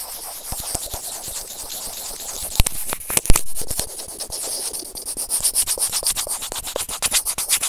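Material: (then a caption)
Plastic. A small hollow white plastic earphone inline remote microphone lies on grey felt and is scratched and pinched by white serrated plastic tweezers. The result is a steady stream of dry scraping and rubbing with bright hiss and many quick clicks. A few louder pinching snaps stand out near the middle, and the strokes become more rhythmic toward the end.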